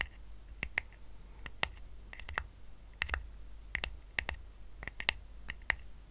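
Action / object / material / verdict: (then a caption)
tap / woven rattan coaster / rattan / none. Fingertips tap and short nails scratch a small, round, flat woven rattan coaster resting on a blanket. Sharp, dry, bright clicks arrive in an irregular series, each dying away almost instantly, with a faint scratchy texture and a low rumble underneath.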